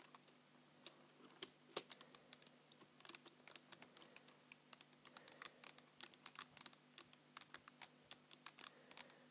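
Fingertips type quickly on the keys of a black plastic computer keyboard. The result is a fast, uneven patter of light, bright clicks that die away almost instantly, bunching into quicker bursts toward the end. A faint steady low hum sits underneath throughout.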